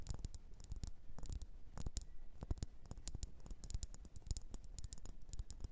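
Long nails tap and scratch a solid red faceted wax pillar candle in a rapid, uneven patter. Each tap is a short, dull thud with a bright click on top, fading almost at once, and soft scratching fills the gaps between taps.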